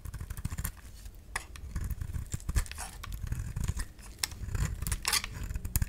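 A utility knife blade shaves a solid oval pink bar of soap held in the hand. It makes a steady run of short, crisp scraping strokes with bright edges over a soft, low rumble, each stroke ending almost at once.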